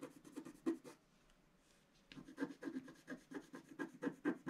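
A wooden stylus scratches the black wax coating off a flat, thin scratch-art paper page in a book, held down by one hand, revealing colours underneath. Quick, dry scratching strokes come in a burst, pause for about a second of near silence, then resume in a steady run of short rasping scrapes. The scrapes have a papery, mid-range texture.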